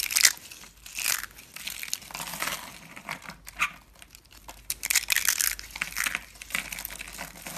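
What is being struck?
Rolled soap curls.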